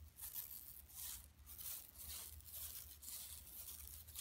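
Long nails scratch across the weave of a flat, empty yellow woven plastic mesh tote bag lying on carpet. The result is a quiet, rough scraping that rises and falls in irregular strokes, dominated by bright, high hiss over a low rumble.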